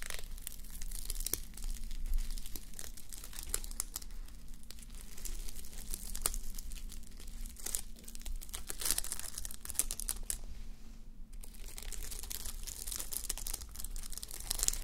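A fabric sleep mask covered in plastic reversible sequins, resting on a white mannequin head, is scratched and brushed with fingertips and long nails. Dense, quiet crinkling and bright scratchy ticks run continuously, with a steady low hum underneath.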